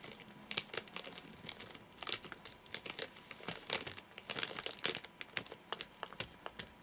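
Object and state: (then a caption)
Plastic-wrapped nougat bar. Fingertips and nails tap and scratch the top of a full, flat rectangular Soft Nougat bar in a crinkly plastic wrapper. Quick, bright crinkles and sharp clicks come in irregular bursts with almost no low end, each snap dying away fast.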